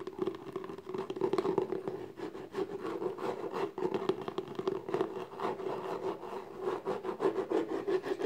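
Long nails scratch and rub the embossed lid of a small, closed, hollow black textured cardboard gift box. The result is a continuous, dense run of scratchy rasps with a steady hollow resonance around 390 Hz, rising and falling in quick uneven strokes.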